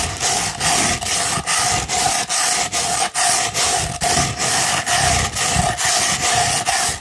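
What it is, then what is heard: Sandpaper sheet scratched. A No. 150 grit sandpaper sheet with a printed backing is rolled into a tube and scratched with long nails. A steady run of bright, gritty rasping strokes repeats at a brisk, slightly uneven pace, with a faint tone near 720 Hz under the scratching.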